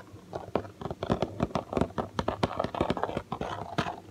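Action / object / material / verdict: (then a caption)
tap / cardboard toy box / cardboard / none. Fingertips drum and tap rapidly on the back panel of a large printed cardboard toy package, a hollow box. A quick, uneven series of dull, hollow thumps and soft taps is heard, with a low boxy body, little brightness and almost no ring between strikes.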